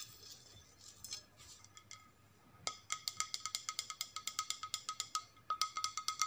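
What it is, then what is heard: Ceramic plate tapped. A flat white ceramic plate with blue rim stripes, held upright, is tapped with long nails. A few faint, soft taps come first, then a quick, steady run of bright, high clinks with a short ring near 1.3 kHz.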